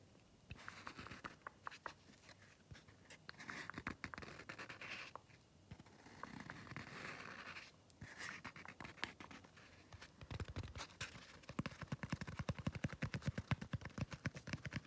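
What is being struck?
Foam scrub sponge.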